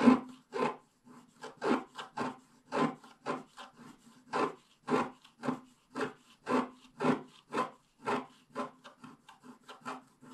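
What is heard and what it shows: A wooden stylus scratches the black coating at the left side of a flat, coated scratch-art paper page. About 23 short, dry, rasping strokes come in a loose, uneven rhythm, each fading almost at once, over a faint steady low tone near 250 Hz.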